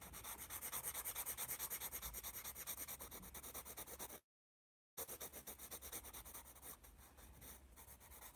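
A wooden graphite pencil scribbles and rubs shading onto a thick paper sketchbook pad held upright, with "AS" marked on it. It makes rapid, rhythmic, bright scratchy strokes of about three per second, with a brief silence in the middle. The strokes then resume and grow softer toward the end.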